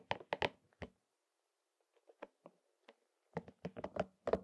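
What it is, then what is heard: Rubber spiky massage ball. A palm-sized, hollow, soft rubber spiky massage ball in pink and purple is tapped and scratched over its spikes with fingertips and short nails. A cluster of dull, short knocks opens the clip, followed by a quieter stretch of faint scratchy ticks. A dense run of irregular taps closes it, each one damped with almost no ring.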